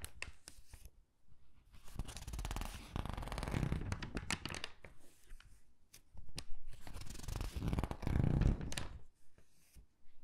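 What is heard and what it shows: A thin, glossy paper gift catalog lies open on a table as fingertips and nails pinch, squeeze and flip its pages. The result is a run of soft, papery crinkles and rustling flips with quiet gaps between bursts, and each brush has a bright, crisp edge over a low, muffled body.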